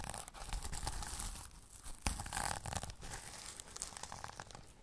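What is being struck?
Sequin-covered fabric pouch.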